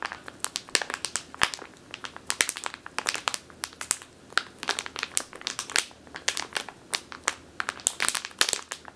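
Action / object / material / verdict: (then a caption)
scrape / plastic bag filled with flour / plastic / none. Long teal nails squeeze and scratch a medium clear plastic bag with a purple label, full of flour or grain. Rapid, bright crinkles and crackles fire one after another with almost no low end, each snapping off quickly.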